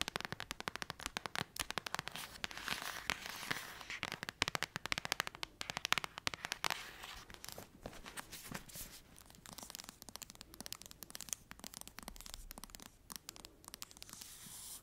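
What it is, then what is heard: Paperback book. Long acrylic nails tap rapidly over the cover and spine of the same thick paperback novel. The result is a dense run of dry, bright clicks that crackle with no ring, busiest in the first seven seconds and a little softer afterward.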